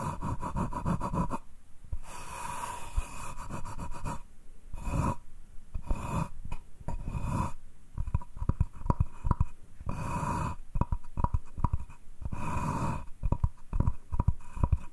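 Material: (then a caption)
Wood. Fingertips and short nails tap and scratch along the edge and face of a solid, light wooden cutting board held at an angle. Soft, breathy scratching swells alternate with quick runs of dull, dry taps that stop almost at once, with most of the energy low. The sound is gentle and close, with no ring after each touch.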